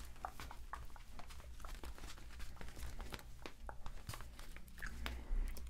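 A hand-sized, hollow, air-filled pink inflatable PVC vinyl octopus cup holder pool toy is held in both hands, rubbed and squeezed with the fingertips, and moved around near the microphones. Quick squeaky rubs and crinkly, scratchy bursts flicker over a steady low hum, with the loudest squeeze near the end.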